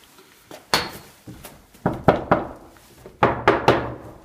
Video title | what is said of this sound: Just The Tip Tuesday: How To Soundproof Your Walls - Armando Montelongo | a hollow core door, which means sound can escape it